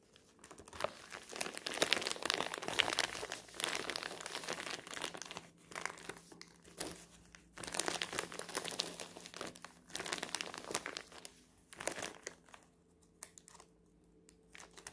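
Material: Paper.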